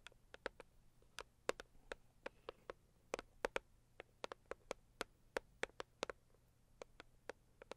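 Long acrylic nails of both hands tap on the lid of a medium, hollow, pink floral Saviland cardboard gift box. About 30 quick, dry clicks come in an uneven patter, each with a hollow knock around 500 Hz and a bright, crisp edge. The clicks stop almost instantly over a quiet, low hum.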